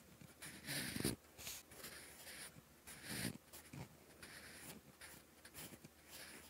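A sharpened wooden pencil scratches across a lined, textured paper notebook page in writing strokes, making dry, bright scratching bursts with soft low rubbing underneath. The loudest strokes come near the start and around three seconds in, with lighter, steadier strokes between and after.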